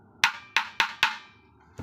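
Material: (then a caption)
Mango wood. A fresh mango-wood dhol drum shell, finished inside and out with no defect, listed at 21 long and 52 around, is tapped four times, with the start of a fifth tap at the very end. Each tap gives a bright, dry woody knock centered around 900 Hz with a short ring that dies away quickly. The shell sounds sound and free of flaws.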